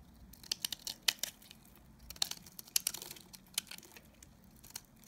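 A blade scrapes chunks and curls off the face of a solid, dry Nevskaya Kosmetika soap bar held in the hand. The result is a quiet series of sharp, brittle crackles and crisp scrapes that are bright and high with almost no low end. Each one stops abruptly with no ring.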